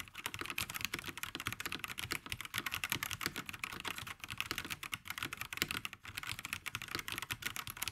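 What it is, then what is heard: Plastic mechanical keyboard. Fingertips of both hands type continuously on a black VortexSeries GT65 Lite 65% mechanical keyboard with plastic keycaps, sitting on a grey desk. A rapid, steady stream of short, bright plastic clacks is heard, each tap dying away almost instantly with little low end. The tone centres around 2.3 kHz.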